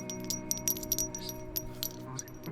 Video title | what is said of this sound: Build FAIL - Unikorn! Stream VOD 8/6/19 | Here's two of the keycaps hitting each other, by the way. Sounds like ceramic, right? They're actually plastic, but it sounds like ceramic.